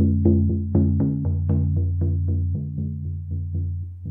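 A large, hollow Remo Buffalo frame drum with a black synthetic head is held upright and struck with a felt-tipped wooden mallet in a steady, quick series of strokes. Each stroke adds a soft thump to a deep, booming tone that keeps ringing under the next strike. The low resonance blurs into a continuous hum that slowly fades.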